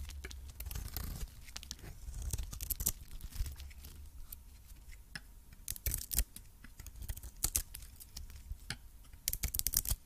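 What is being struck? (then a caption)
Coated solid soap bar and metal blade. A metal blade scrapes and cuts shavings off a red-coated, cream-colored solid soap bar. Quick, crisp scraping and crackling strokes with bright, tearing edges sit over a steady low rumble. The strokes cluster in bursts across the clip.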